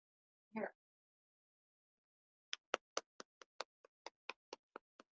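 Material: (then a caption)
Choux pastry. Someone taps the firm, browned bottom of a baked choux cream puff 13 times in quick succession, producing short, dry, hollow taps after a single softer, duller bump near the start. The hollow tapping signals plenty of air inside; cut open, the puff shows a good cavity, though it is slightly underdone.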